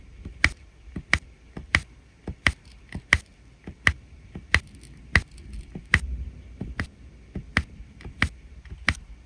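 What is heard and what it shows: A plastic drill pen taps gold resin rhinestone drills onto the sticky surface of a flat adhesive diamond painting canvas. About thirteen sharp, dry clicks land at a steady pace, each with a bright snap and a brief ringing tone near 1.9 kHz. A soft low hum sits underneath.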